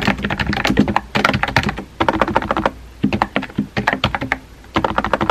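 Fingertips type on a compact pink plastic keyboard with round white keycaps, making quick, light plastic clicks and taps. The keystrokes come in short bursts separated by brief pauses, with no ring after each tap.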